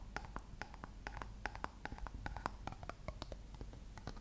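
Long nails tap and scratch the body of a dark plastic shampoo bottle with a gold label, held sideways. A quiet, steady stream of quick, dry plastic clicks with a hollow mid-range tone rises above a soft low rumble, with light scratchy brushing between the taps.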